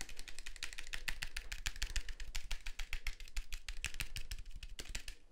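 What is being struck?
Plastic and metal film SLR camera.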